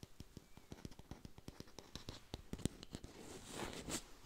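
A hand-sized, glossy artificial red apple with a stem, probably plastic, is tapped and scratched with long pink nails. Around twenty quick, dry taps come in a fast, uneven stream, each a short click with a faint low knock and no ring. Near the end, a brighter, louder scratching rasp swells over the taps.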